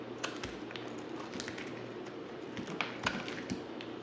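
A dry, partly carved solid white bar of soap is shaved into flakes with a utility knife blade. The sound is a soft, steady scraping with light, crisp ticks and a few brighter snaps over a faint low hum. The ticks die away quickly, leaving no ring.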